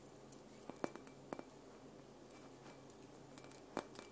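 Fingertips and nails tap a hollow, transparent glass Christmas bauble with painted red snowflakes, hanging on a red ribbon on the tree. It gives quiet, bright glassy clinks in an irregular series, each dying away almost at once over a faint steady background hum.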